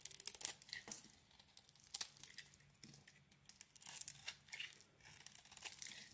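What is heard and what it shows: A thin metal blade shaves and scrapes curls off a palm-sized oval bar of solid soap, dark red outside with a blue swirled inside, held in one hand, and the shavings fall onto the table. The sound is quiet, bright, dry crackling and tearing scrapes in short, irregular bursts with almost no low end, and each stroke stops at once without ringing.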